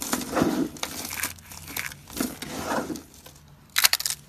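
Bare hands grab and crush handfuls of brittle, solid dry soap flakes from a pile of green, cream and red flakes. Dry, crinkly crunching comes in several bright, crackling bursts with quieter rustling between them, ending in a sharp, high crackle near the end.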